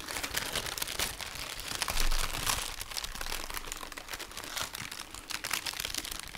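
Thin pink tissue paper wrapped around a small rectangular boxed item is crinkled by fingertips with short natural nails as it is unfolded. The result is continuous dense crumpling and crinkling with bright, papery rustles and frequent small crackles, swelling louder around two seconds in.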